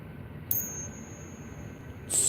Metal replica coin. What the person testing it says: When you go to ping test something like this, it should have a certain ring